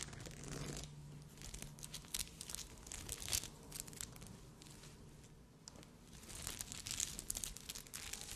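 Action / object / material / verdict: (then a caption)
scrape / glass rhinestones sewn on a fabric cup / glass rhinestones / none. Long red acrylic nails scratch and tap a bikini top cup that is soft and hollow and covered in dense red Swarovski-style glass rhinestones on fabric. The result is a quiet, bright stream of crinkly, crackling scrapes and sharp little clicks that swell and fade in clusters.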